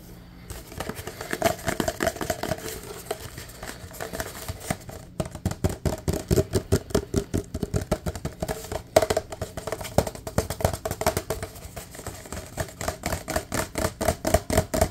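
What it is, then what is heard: Empty paper cup. A large, empty, open-topped white paper fast-food cup with red print is tapped quickly with fingertips on its sides and bottom. The result is a fast, continuous stream of short, dry, hollow taps with a mid-range tonal resonance. The taps come in uneven bursts and grow denser and more rhythmic in the second half.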